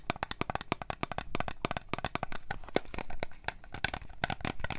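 A small, apparently full Starbucks glass coffee drink bottle with a plastic shrink label is tapped and scratched with long fingernails. A rapid, uneven run of sharp, dry clicks sits over a low thump and a bright scratchy hiss. Each tap cuts off almost at once, with no ringing.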